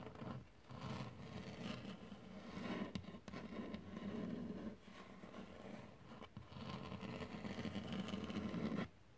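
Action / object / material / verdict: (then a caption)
scrape / wood-grain tabletop, possibly laminate / wood / none. Fingertips tap and scratch across a flat, solid dark wood-grain desktop, possibly laminate. A steady, dense scratchy rasp with a low hum near 200 Hz rises and falls in bursts, broken by a few brief sharp taps before stopping abruptly near the end.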